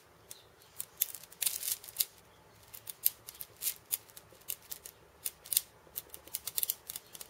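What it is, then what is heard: Cabasa (steel bead chains on a wooden cylinder). Fingertips tap and scratch the steel ball chains on a small hollow wooden cabasa. The result is a quiet, irregular run of short, crisp metallic clicks and rattling scrapes, almost entirely bright and high with no low end and very little ring.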